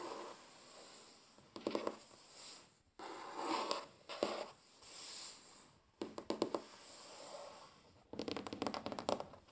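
Fingertips and nails of both hands drum and tap on a large, solid, flat wooden tabletop. Quiet bursts of quick, dry, clicking taps alternate with softer scratching and rubbing passages. Each tap dies away almost instantly, with little low-end weight.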